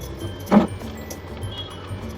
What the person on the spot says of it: कॅडीचा कसा खणखणीत आवाज येतोय